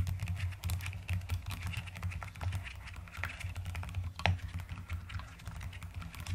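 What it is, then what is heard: Plastic mechanical keyboard being typed on. Long-nailed fingers type quickly on a white-cased mechanical keyboard with pastel purple and white plastic keycaps. A dense, steady stream of short, crisp key clicks with bright tops plays over a constant low hum.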